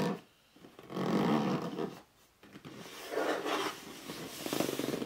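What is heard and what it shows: Fingertips rub and scratch the top surface and front edge of a hollow red cardboard box lying flat. The result is a series of dry, scraping rub bursts with a grainy, low-to-mid body around 200–500 Hz, separated by brief near-silent pauses. The scratching turns slightly brighter and more rapid toward the end.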